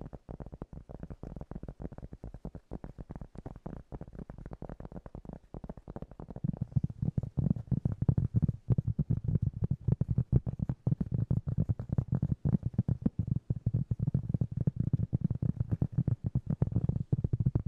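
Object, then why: Piece of cork. Fingernails tap rapidly on a piece of cork, making a dense stream of soft, dull, low-pitched taps with almost no ring. The tapping gets noticeably louder and fuller about six seconds in and stays steady to the end.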